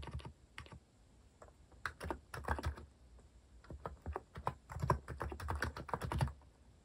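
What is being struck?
Plastic mechanical keyboard.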